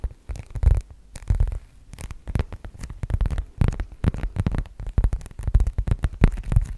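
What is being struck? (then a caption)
Leather zip wallet. Long manicured nails tap and scratch across the leather face of a black leather zip wallet held horizontally in both hands. The result is an irregular run of soft, dull, low thumps mixed with brief scratchy rustles, each tap dying away almost at once.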